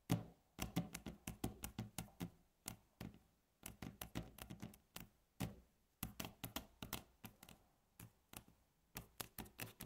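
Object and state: Wooden tabletop.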